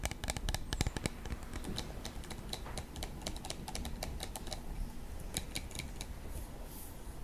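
A clear plastic body mist spray bottle, about 15 cm tall with a black cap and partly filled with purple liquid, is held in both hands and tapped repeatedly on its sides with short fingertips and nails. Quick, irregular, bright clicking ticks die away almost instantly over a soft, steady low rumble throughout.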